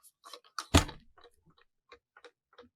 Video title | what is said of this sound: WHAT'S MY NAME? IPL Update, Maxwell, Pant, Aluminum Bats & The Best Franchise Names | And it sounds terrible. And this one, there's a rattle in it.